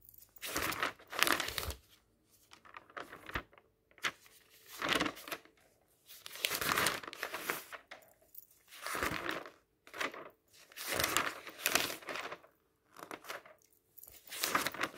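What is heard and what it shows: Fingertips turn the thin pages of an open paper magazine lying on a table, producing repeated bursts of bright, crinkly rustling. Each turn swells and fades, with short near-silent gaps between them.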